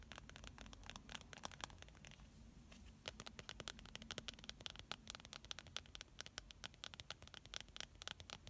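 Long painted nails and fingertips tap and scratch on a pink, hand-sized plastic squeeze tube of face primer filled with product. Rapid, bright clicking taps come in dense bursts with soft scratchy rustling between them, pausing briefly near the two-second mark before resuming.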